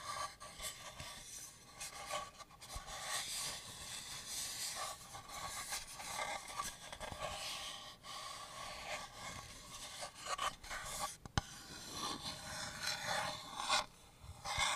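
Long painted nails and fingertips scratch and rub the outer wood and flat paper-labelled back panel of a small hollow wooden house-shaped shelf, a shadow box with a pink-painted inside, held in the hands. The result is a steady, dry, bright rasping and scraping with little low end, with a brief sharp tick partway through.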